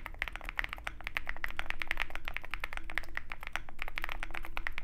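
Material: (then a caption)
Plastic. A Zoom65 65% mechanical keyboard with white MT3 PBT keycaps on a dark aluminum case, resting on a desk mat with a wooden wrist rest, is typed on continuously with the fingertips of both hands. Dense, fast, slightly uneven clacks with bright, short-decaying peaks around 2 kHz run throughout, over a steady low background hum.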